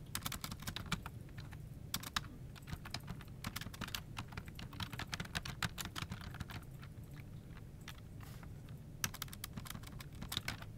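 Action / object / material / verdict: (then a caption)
tap / plastic computer keyboard / plastic / none. Both hands type with their fingertips on a full-size plastic office keyboard resting on a desk. The result is continuous, quick, dry key-tap clicks, with bursts of bright, sharp taps over a steady low rumble.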